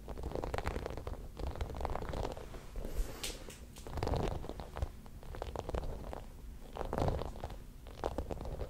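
A small, palm-sized white spiky plastic massage ball is rolled and rubbed between both palms close to the microphone. It makes a steady, low rumbling scratch with dense crackly, crunchy clicks, swelling louder in waves around the 4- and 7-second marks.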